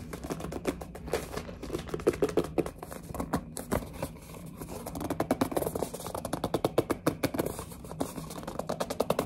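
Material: Cardboard.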